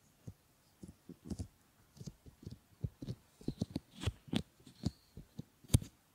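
Fingertips stroke and rub over a pair of solid silicone ear models and their pads, making quiet, soft, muffled thumps and brushing sounds. The sounds are mostly low, with faint bright swishes. They come as short, irregular bursts that stop quickly with almost no ring.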